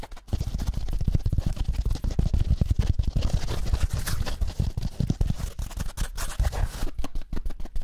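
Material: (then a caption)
Foam. A rectangular kitchen dish sponge of yellow foam with a green scouring pad is held in one hand while the other hand's fingertips and nails scratch and tap it quickly. The result is a dense, fast run of muffled, low-heavy scratching and tapping with short dry hits and almost no ring, going nearly nonstop before turning into sparser separate taps at the end.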